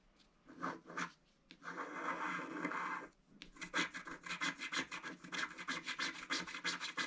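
A wooden stylus scratches fine lines into the black coating of a scratch-art card in a book lying flat. Two short, dry scratches come first, then a longer steady scrape, and finally a quick run of short, bright scratching strokes.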